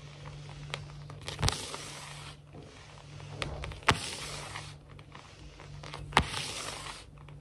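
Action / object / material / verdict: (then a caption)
scrape / wooden laminate floor / laminate / none. Fingernail tips tap and scratch a large, solid, glossy wood-look laminate floor, making bursts of bright, hissing scratches that swell and fade in waves. Three sharp taps stand out between the scratching, and a steady low hum runs underneath throughout.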